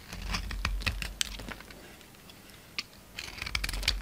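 A palm-sized solid white bar of soap, held in the hand, is carved and scraped with a utility knife blade so chunks and flakes crumble off. Short, dry, crisp scraping and cracking sounds with bright high edges come in irregular clusters, with a quieter stretch in the middle and a final flurry near the end.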